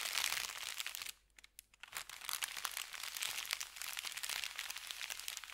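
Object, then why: Thin kraft paper bag. An empty, thin brown kraft paper bakery bag lies flat while fingertips and nails rub, smooth and crinkle its surface. Dense, bright crinkling and crackling fills the clip, dropping to near silence with a few faint ticks for about a second before the crinkling resumes just as busily.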